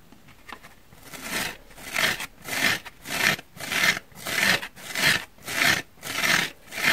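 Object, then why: Foam sponge. Fingertips with short painted nails scratch and squeeze the surface of a pink, rectangular, dry, porous foam sponge, solid and not wet, held in both hands above a wooden table. After a quiet start, a steady series of dry, bright, rasping scrapes rises and falls at about one and a half per second, each dying out quickly with almost no low end.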